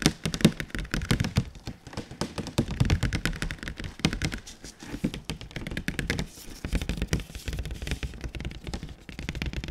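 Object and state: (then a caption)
Cardboard box. Fingertips tap rapidly on the flat, glossy faces of a large printed cardboard console box, held overhead and then in front. The result is a dense, continuous run of short, dull thunks and knocks with a hollow low body and little ring, rising and falling in intensity.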